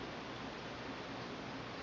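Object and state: Nothing is struck.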